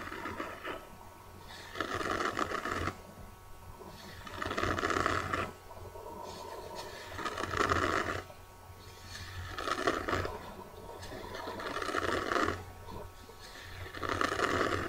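Long dark-painted nails scratch and rub across a kraft-cardboard notebook cover with a birdcage print, held in both hands. Rough, papery scraping comes in repeated swelling strokes of about a second each with short quieter gaps, over a faint steady low hum.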